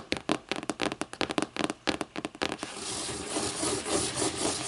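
Long nails tap the lime-green board spine and cover edge of a closed hardcover book lying on its spine, giving about 17 quick, dry, bright clicks with almost no ring. After the taps, the nails shift to a steady, hissy scratching across the board that fills the rest of the clip.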